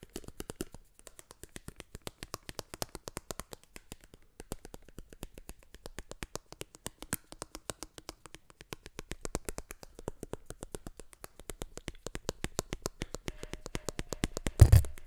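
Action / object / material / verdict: tap / plastic eyeglass frame / plastic / none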